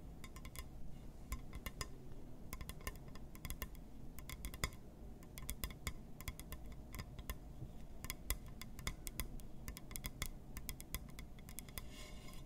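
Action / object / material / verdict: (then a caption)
tap / glass surface / glass / none. A glass surface is tapped and scratched with quick, light clinks and ticks. The clicks come in irregular clusters, each bright and very short with almost no ring, over a steady low rumble.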